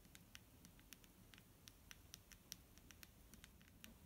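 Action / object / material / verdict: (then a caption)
tap / plastic bottle filled with liquid / plastic / none. A clear plastic micellar water bottle filled with liquid is tapped and scratched with fingernails. The result is a quiet, steady run of sharp, bright clicks and light scratches that die away instantly, over a low background hiss and rumble.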